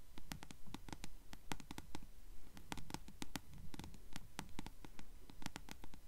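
Long acrylic nails tap and scratch the yellow-dyed page edges of a closed paperback book held upright. Quick, fairly steady clicks with a bright, crisp top ring out over a soft, dull low rumble, each tap dying away almost at once.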